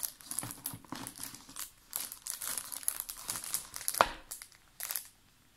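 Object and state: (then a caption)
Plastic water bottle, full. Fingertips and nails tap and scratch the plastic walls and label of a large, clear, ridged PET water bottle that is full of water and held upright. The result is a steady run of crinkly, bright scratching and light tapping, with one sharper tap near the end before the sound stops and falls quiet.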